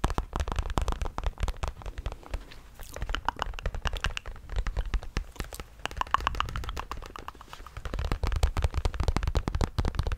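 A grey Bass Pro Shops fabric trucker cap is held in the hand while fingertips scratch across its crown and patch. The result is a dense, continuous run of short, dry scratching crackles with a heavy, muffled low-end rumble and little high brightness. The crackles swell louder in bursts near the start, middle and end.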